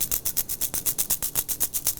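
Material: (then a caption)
Glass. A stack of plastic agar petri plates containing glass spreading beads is shaken to spread bacteria across the medium. About 17 quick, even bursts of bright, hissy jingling rattle out as the beads bounce around inside the plates.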